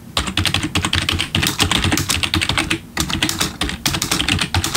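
Both hands type quickly with their fingertips on a black plastic RGB backlit computer keyboard. A fast, steady stream of bright key clicks rides over a low, thumpy clatter, pausing briefly near the three-second mark before the typing resumes at the same pace.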